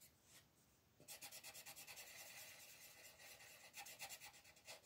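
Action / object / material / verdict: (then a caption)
scrape / thin paper page rubbed with a colored pencil / paper / none. A colored pencil rubs firmly across a thin paper mandala coloring page resting on a table, while the other hand holds the page steady. After about a second of faint hiss, rapid coloring strokes begin, making a bright, dry, scratchy rasping that pulses back and forth for the rest of the clip.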